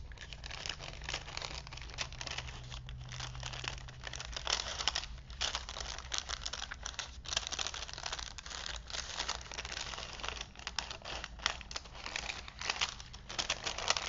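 A thin vintage paper movie film strip, held open between wooden spools, is unrolled and crinkled by fingertips. Dense, bright crinkling and crackling runs for the whole clip in quick, uneven bursts over a steady low hum.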